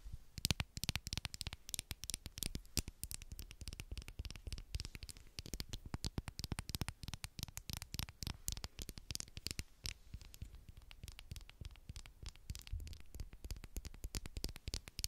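A small green and white plastic medical lip balm tube, a hollow cylinder held in the hand, is tapped and scratched with long black acrylic nails. It makes a quiet, steady stream of rapid, dry clicks and scratchy rustles over the whole clip. Each tap dies away instantly, with a dull low thump under bright, crisp edges.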